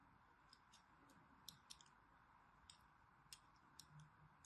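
A solid orange striped bar of soap, held in the hand, is scored with a thin needle or blade. Sharp, bright scratching clicks sound over a quiet, steady hiss. Each one is very short and stops almost at once.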